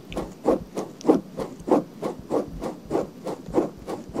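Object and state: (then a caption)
Silicone microphone ear being scratched. Long nails scratch the outer ear and ear canal area of a pale pink silicone binaural microphone ear held by hand. A steady series of soft, dull scratching strokes repeats at a regular rhythm, with the energy sitting in the low-mid range.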